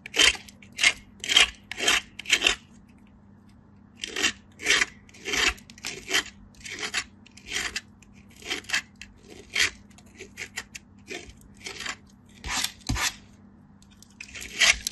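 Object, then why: Soap bar on a steel grater. A pale solid piece of soap is scraped against a perforated stainless-steel grater by fingertips with light-blue nails. It makes a steady series of short, bright, raspy scraping strokes separated by brief pauses, over a faint low hum.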